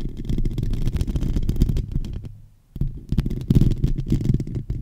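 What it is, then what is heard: Metal microphone grille scratched. Fingertips and short nails of both hands scratch the hollow metal mesh grille of a silver microphone, producing a dense, low, rumbling scratching close to the mic. The scratching fades to near silence briefly around the middle, then resumes with sharper bursts until the end.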